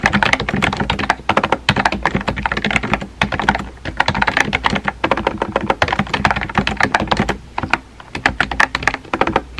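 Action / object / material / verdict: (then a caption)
tap / plastic keyboard with round plastic keycaps / plastic / none. Fingertips type rapidly on a small pink and white plastic keyboard with round plastic keycaps and a hollow body. The sound is a dense run of short, clicky, hollow key taps, with brief pauses just after 3 seconds and around 7.5 seconds before the typing resumes.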